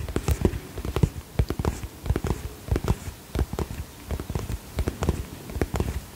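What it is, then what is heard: Holographic vinyl cosmetic pouch. Fingertips tap the plastic surface of a holographic polka-dot vinyl cosmetic pouch held in both hands. The taps are short, soft and low, with a dull thud and almost no ring, falling in quick irregular bursts throughout.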